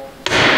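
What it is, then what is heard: Carrier bearing fully seated. A hammer taps a steel differential carrier bearing through a wood block while installing an ARB Air Locker, giving one sharp hit at about 0.26 s. A bright, hissy ring sustains to the end of the clip. The bearing is fully seated.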